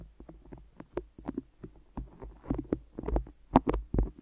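Fingertips and long nails tap and stick on the top and sides of microphone ears wrapped in white adhesive tape. The result is a quick, irregular run of soft, muffled taps with low thumps, bright sticky clicks and peeling crackles in between.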